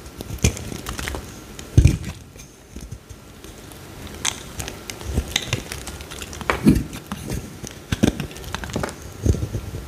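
A palm-sized, solid green bar of soap is shaved along its face with a metal utility blade held in the fingertips. Dry, crackly scraping and cutting come in short bursts, with a dull low-end thud and faint bright crinkles. The louder strokes stand out near the start, just before the two-second mark, and later in the clip.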